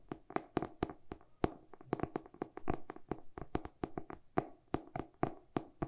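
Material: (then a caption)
Cardboard. Short painted nails tap along the dark glossy cardboard cover and spine of a solid hardcover book, turned to show its back. The result is a quick, uneven run of dry, hollow knocks with a low-mid body around 340 Hz and a brief bright click at each strike. Each tap dies away almost instantly, with no ringing.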